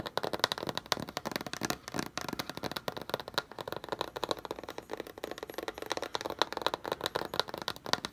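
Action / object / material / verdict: tap / corrugated cardboard box / cardboard / none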